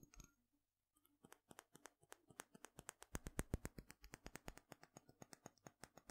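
A small dark glass dropper bottle with a green label and black dropper cap is held in one hand, tapped and scratched with fingernails along its glass body, and turned in the hand. After a brief scratch and a short pause, a quick, slightly uneven run of about three dozen crisp, bright clicking taps follows. The taps are quiet and short, with a faint low hum underneath.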